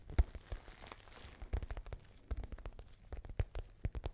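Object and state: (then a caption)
Patent faux leather handbag. Long nails tap and scratch the surface of a small pale pink glossy patent faux leather shoulder bag with a gold chain strap. The result is an irregular run of short, dry, dull taps with very little ring, separated by a faint scratchy rustle, mostly low in tone.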